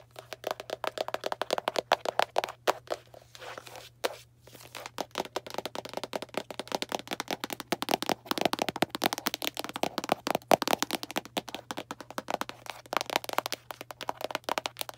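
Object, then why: Small cardboard box. Long black nails tap quickly on a small Arm & Hammer cardboard baking soda box, producing a dense stream of dry, papery clicks and crackly scratches centered in the midrange. The taps come in rapid bursts with a brief lull around four seconds, over a steady low hum.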